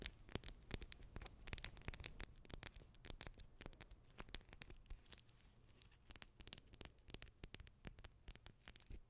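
A small, soft, blue pack of gel beads sealed in clear plastic is held close to a microphone and scratched and squeezed with long red acrylic nails. Quick, dry crackling scratches and clicky taps come in a dense, uneven stream, with bright, sharp edges over a steady low hum. Each sound ends almost at once, leaving no ring.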